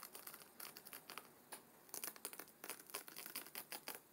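Fingernails of both hands rapidly scratch and flick the stacked paper page edges of a closed, thick hardcover book with a dark blue cover. The result is a quiet, rapid series of dry, crinkly scratching flicks with bright papery hiss, almost no low end, and very short decays.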